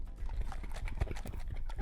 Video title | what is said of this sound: Butter Challenge– "STEM Challenge" at the San Francisco Public Library | when you hear that sloshing sound again